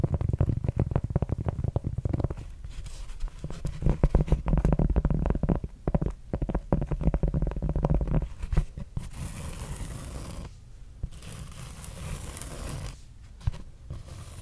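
A round board of solid thin cork, held by the microphone, is scratched and tapped with long red nails, at times with one hand. Close, dense, irregular scratching and soft tapping with a heavy low rumble gives way to quieter, hissier scraping with bright sheen in the second half.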